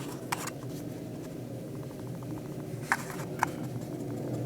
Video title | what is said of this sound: Sony Action Camera HDR-AS15 Rattle Fix | shake it and test for rattles. We don't seem to have any.